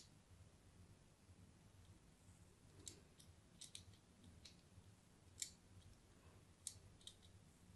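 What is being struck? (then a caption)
Bar of soap cut with a thin metal blade. A thin metal blade cuts diagonal lines into the face of a solid cream bar of soap with an embossed logo, held in one hand. Quiet, crisp scratching and cutting sounds come as a series of short, bright clicks and scrapes. A soft, steady low hum sits underneath.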